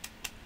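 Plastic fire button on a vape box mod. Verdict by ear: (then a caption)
Hollow. Three quick, bright, hollow clicks as the side fire button of a Sigelei TOP 1 230W vape box mod is tapped. The sound comes from a hollow, cheap plastic button with a little rattle, and it sounds thin rather than solid like metal.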